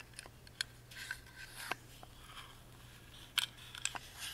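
Fingertips and nails rub and scratch across a tiny hollow carved wooden music box, first over its bottom panel with screws and then over the carved lid. The result is quiet, bright, dry scratching and brushing, broken by sharp, quick clicks and ticks, over a faint steady low hum.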